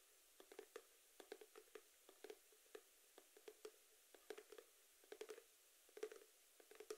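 Fingertips tap a small rectangular cardboard box with a geometric print, likely hollow, held in both hands beside the ear. Quiet, irregular bursts of soft, hollow knocks center on a low-mid tone with faint bright clicks on top. Each tap dies away almost instantly.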